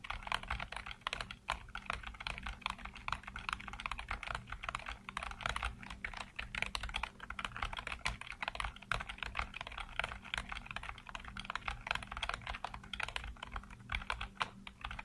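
Fingertips type rapidly across a full-size black plastic keyboard with hollow keycaps. It makes a dense, continuous stream of short, bright, hollow-sounding clicks and taps over a faint steady low hum.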